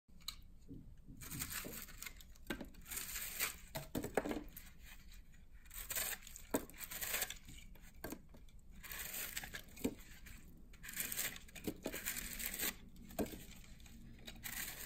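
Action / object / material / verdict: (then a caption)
scrape / puffed dry soap block cut with a knife / soap / none. A hand-sized, brittle, foamy pink-and-white soap block, puffed up in a microwave so it is solid but airy, is held in one hand and cut and scraped with a red utility knife blade. Dry, crisp tearing and crunching crackles come in bursts with bright, scratchy edges over a low rumble. Flakes break off and fall onto a wooden surface.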